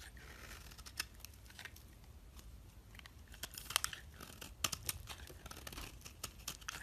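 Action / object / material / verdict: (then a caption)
scrape / bar of soap scraped by a metal blade / soap / none. A metal blade scrapes ribbons of soap off a solid oval purple soap bar held in the hand. Quiet, dry scraping is broken by irregular, bright crackling snaps, loudest around the middle and end of the clip.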